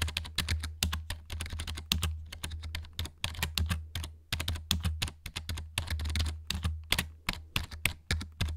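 Fingertips tap and press the plastic keycaps of a black plastic RGB gaming keyboard held upright close to the mic. A rapid, uneven stream of short, bright clicks and clacks is heard over a steady low hum, each tap dying away almost at once.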